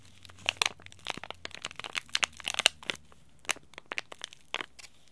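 A small green laminated plastic-foil tea bag packet is crushed and crinkled between the fingers, then rubbed with the thumb. The result is a run of sharp, bright crackles and crinkles in irregular bursts, dry with almost no low end.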